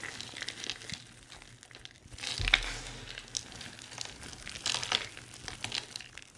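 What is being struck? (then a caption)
Pile of soap shavings. Hands knead a pile of dry crumbled soap shavings, small solid flakes, crushing them between the palms and fingers. The result is a continuous, irregular bright crinkling and crunching, with a louder crush about halfway through and another burst of crackling near the end.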